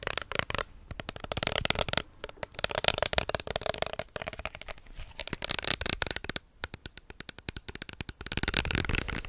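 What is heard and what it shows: A small, hollow white plastic lotion bottle with an orange cap is tapped and scratched with fingertips and nails close up. The result is a rapid, uneven stream of sharp clicks and dry scratchy rasps, bright and crisp with little low end. Short quiet gaps break the flurries.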